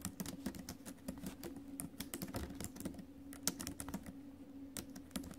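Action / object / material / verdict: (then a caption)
tap / laptop keyboard, plastic keys in a metal body / plastic / none. Fingertips and acrylic nails tap the plastic keys of a silver metal laptop keyboard while typing. A quick, irregular run of short, crisp clicks with bright ticks sits over a steady low hum. Each click dies away almost at once.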